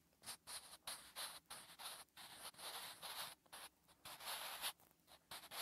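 A wooden graphite pencil writes Korean letters on a flat, solid lined paper notebook page, making bright, dry scratching strokes. The short bursts of scratchy hiss stop and start with brief pauses between strokes, with almost no low end.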